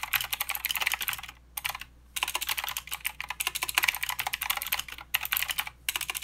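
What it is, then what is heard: Plastic mechanical keyboard being typed on. Fingertips of both hands type continuously on a plastic mechanical keyboard with clicky blue switches and plastic keycaps. Rapid bright, sharp clacks run in quick bursts, broken by a few short pauses. The clicks are crisp and dry, with almost no low end.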